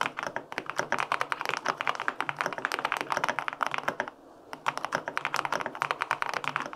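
Fingertips type on the plastic keycaps of a white-pink full-aluminum 65% mechanical keyboard with linear switches, producing a rapid run of short, crisp clacks with a deep, muted body. The typing pauses briefly just past four seconds, then resumes at the same quick pace.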